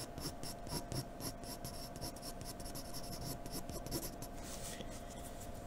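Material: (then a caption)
Paper. A graphite pencil makes many quick hatching strokes across a white sheet of paper, producing a steady, dry scratching. Each short stroke adds a soft, bright rasp over a low, continuous rustle, and the strokes run together at an even, quiet level throughout.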